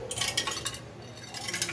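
A Nissan Almera's exhaust is shaken by hand, producing a bright, metallic clinking rattle from loose pieces inside the catalytic converter, in quick bursts with a quieter stretch in the middle. The converter's ceramic core is broken and crushed inside, making this abnormal underbody noise.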